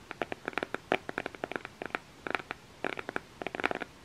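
Fingernails scratch and tap on the black cardboard cover of an eyeshadow makeup palette held in both hands. The result is a quick run of dry, crisp clicks and short scrapes in irregular clusters, with no ringing after each contact.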